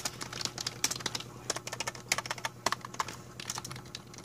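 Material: Plastic.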